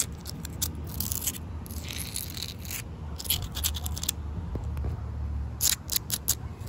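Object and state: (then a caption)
Damp concrete paving stones. Short painted nails and fingertips tap and scratch across damp, solid outdoor concrete paving stones and into the joints between them. Dry, bright scraping bursts alternate with quick, sharp taps that stop dead with no ring, over a low steady rumble.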